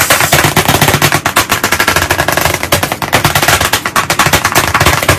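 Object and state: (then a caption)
Chalkboard tapped with chalk. Very fast tapping with white chalk sticks held in both hands on a solid, medium, flat black chalkboard panel in a wooden frame. It makes a dense, steady stream of sharp, dry clicks with a bright top and a faint low knock, each tap dying away almost at once.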